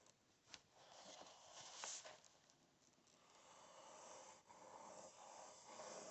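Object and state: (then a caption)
Paper book pages. Fingernails scratch and tap on the printed paper pages of an open book, making a quiet, bright, hissy rasping broken by a few sharp taps.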